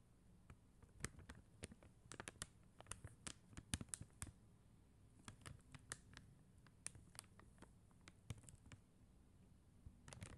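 Long teal acrylic nails tap and scratch across a flat sheet of clear and blue faceted plastic rhinestone stickers on white paper backing. The result is a quiet, irregular run of many crisp, bright clicks with very short decay, broken by brief scratchy scrapes over a soft low background hush.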